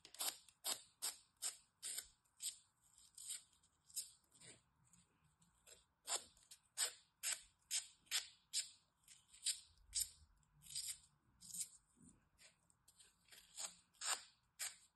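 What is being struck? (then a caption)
Green floral foam bar. A craft knife slices small cubes off a small solid bar of green floral foam held between fingers with long red nails, dropping them onto a pile of foam cubes below. About 26 crisp, bright, dry crunching cuts arrive at an uneven pace, each snapping off almost instantly with no ring. The cutting stays quiet and close throughout.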